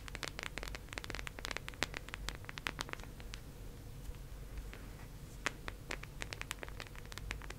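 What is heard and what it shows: Long acrylic nails tap and scratch across the surface of a teal, round, hollow plastic case held in both hands. The result is a quick, irregular series of sharp, bright clicks over a soft scratchy hiss, with a constant low hum underneath. The taps are denser at the start, thin out in the middle, and pick up again toward the end.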